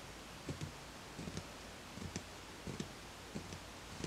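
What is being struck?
Ceramic plant pot.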